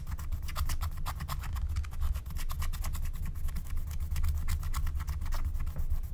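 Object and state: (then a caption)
Scratch-art coated paper being scratched. A wooden stylus, held with long painted nails, scratches the coating of a thin black-coated scratch-art card lying flat. Rapid, repeated dry scratching strokes rasp out as bright streaks over a steady low rumble that carries most of the energy.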